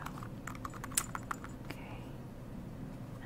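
Long nails tap quickly on the glossy heel and platform of a black patent leather Coach Isabella platform pump with a block heel as the hollow shoe is held and rotated. The taps are short, light and bright clicks that fade almost instantly, over a steady low background hum.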